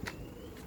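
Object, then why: Car body panel, fiber composite. Two quick, dull knocks on a fiber composite body panel of a 2019 Aston Martin V8 Vantage, knocked right after a metal panel for comparison. The knocks are low and muffled, centred around 100 Hz, with little bright ring, then fade into a quiet background. The panel is identified as fiber composite rather than metal.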